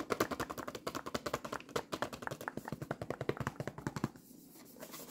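Long nails tap and rub the face of a full black cardboard box of 50 tea bags, making a rapid run of about 35 short, dry, hollow taps with very little ring. After about four seconds the tapping stops, leaving a soft, faint rub.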